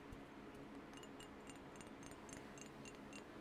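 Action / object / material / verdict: tap / glass perfume bottle tapped by fingernails / glass / none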